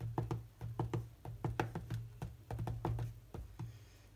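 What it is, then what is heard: Glass tablet touchscreen being tapped. Fingertips of one hand tap and swipe across the solid glass touchscreen of a large tablet. About 17 quick, dull taps land in an uneven rhythm, with a low steady hum underneath. Each tap dies away almost at once, with little brightness.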